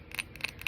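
Fingernails tap a textured glass candle holder three times, giving bright, high-pitched clicks centered around 2.5 kHz with almost no ring after each tap.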